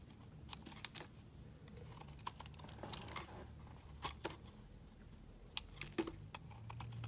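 A hand-held solid pink bar of soap has thick slices shaved off with a steel utility blade. Short, crisp, bright scraping clicks come at irregular intervals over a soft low hum, each cut ending almost instantly.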